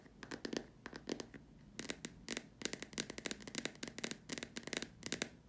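Long dark nails tap and scratch along the sides and the rim of the top opening of a large, hollow, white plastic dome lamp shade. Quick clusters of crisp, bright, dry clicks and short scratchy strokes come in uneven bursts with brief pauses. Each one dies away almost at once, with a faint hollow body around the middle.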